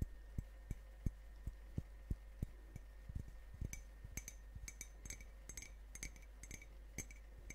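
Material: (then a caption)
Ceramic. A medium ceramic coffee mug printed with a Grumpy dwarf design, hollow and apparently empty, is held in one hand and tapped with long painted fingernails near the microphones. A steady series of short, dry taps sounds over a constant low hum: dull, thumping knocks at first, then quicker, brighter clicks with a faint clink. Each tap stops almost at once, with no ringing.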